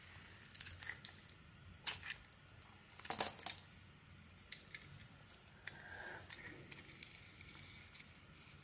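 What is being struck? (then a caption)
Bar of soap. A rectangular solid bar of soap with ridges and a yellow glitter coating is held in the hand and scraped and shaved with a metal utility blade, revealing white soap underneath. Quiet, dry, crinkly scraping strokes come in short, bright bursts, with a few louder passes near the middle and little low end. Each stroke stops dead with no ring.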